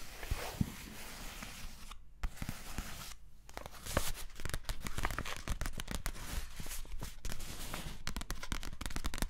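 A flat Pukka bio-latte pouch of printed paper packaging, likely foil-lined, closed and filled, is held in both hands and crinkled and tapped with long painted nails. Dense, bright crackling crinkles mix with sharp, dry clicking taps that die away almost instantly, with brief quiet pauses near two and three seconds. The handling grows busier and more continuous toward the end.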